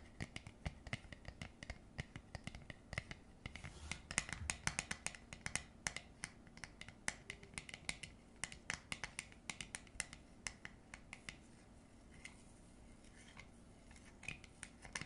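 Long nails scratch the ribbed rim and tap the top of a hollow blue plastic jar lid, making a quiet, fast run of dry, bright clicks and scrapes. The clicks stop almost instantly, over a soft low rumble, with a hollow tone near 2 kHz.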